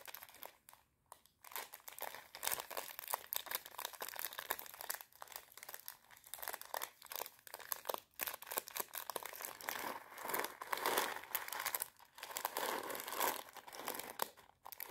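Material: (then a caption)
Plastic. A small clear plastic bag, about half full of dried popcorn kernels, is held in the hands while long nails crinkle and squeeze it and shake the kernels. The result is dense, bright crinkling with a rattly, crunchy texture and almost no low end, broken by a few brief quiet gaps.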